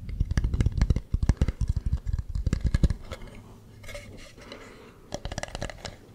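Fingernails rub and scratch the ridged carving of a hollow carved wooden mask held close to the mic, producing quick, dense, bassy scratching strokes for about three seconds. A softer, steady rubbing follows, then a short burst of scratching returns near the end.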